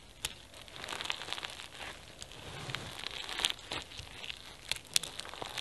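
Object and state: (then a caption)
Foam bead slime (floam). Pink floam slime with foam beads and flower sequins is squeezed in both hands, stretched into a long strip and folded back. Dense, bright crackling and crinkling from the beads runs throughout, with sharp pops standing out near the start and end.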